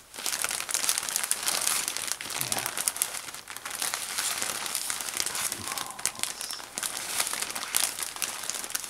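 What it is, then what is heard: Plastic bag of cotton balls being crinkled. A jumbo-size soft plastic bag filled with cotton balls, held in one hand, is squeezed and rubbed by fingertips and thumb so the thin plastic crinkles. Continuous bright, dense crinkling and crackling runs throughout, with very little low end.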